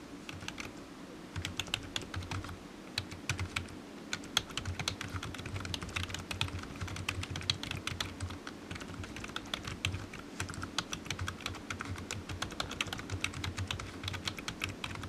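Fingertips of one hand type fast on a low-profile black plastic computer keyboard with hollow keys, resting on a desk mat. A steady, dense stream of short, dry, bright clicks runs throughout, with a soft low thump underneath and no ringing between strokes.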